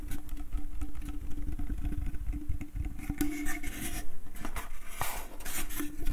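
A small, empty, hollow wooden slatted bucket with a rope handle is tapped and scratched on its outer wall with fingertips and nails. Dense, soft taps and rasping scratches run continuously, with a dull, low, hollow body and short, dry decays. Brighter scraping bursts come through toward the end.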